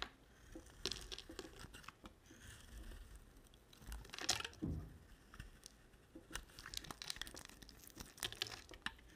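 A utility knife blade shaves the red outer layer off a rectangular solid white bar of soap. Quiet, crisp scraping and crumbly shaving strokes come in bursts, bright with a faint low thud beneath. The strokes vary in strength, with the loudest around the middle and a busier run of short cuts toward the end.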